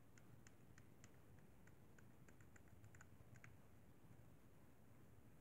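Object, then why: Plastic game controller buttons. A fingertip taps the buttons and thumbstick of a hollow white plastic Xbox 360 controller, making a run of quiet, light clicks. The clicks sit over a steady low hum throughout.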